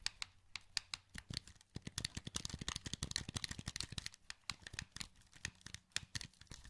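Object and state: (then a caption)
Plastic game controller, button clicking. A hollow, wired black plastic PS2 controller held in both hands is clicked rapidly with the thumbs on its buttons and sticks. The result is a dense, uneven run of sharp, dry plastic clicks with bright, high tops, coming in quick bursts and scattered single taps over a quiet background.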